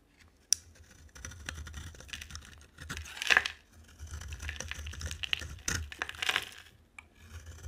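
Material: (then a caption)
Soap. A hand-sized, solid, dry orange bar of soap with an embossed logo is held in one hand and shaved with a utility knife blade, sending white flakes off its surface. The clip is filled with dry, bright scraping and rasping strokes, punctuated by sharp crisp clicks as the blade catches the soap. A faint low rumble sits underneath.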